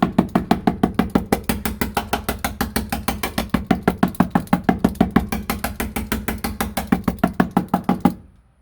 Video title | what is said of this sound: I went overboard! Interior Soundproofing Pt 1: Kilmat & Amazon Basics (03 Civic Project) | ここから小さな音が聞こえます。振動が大きいのです。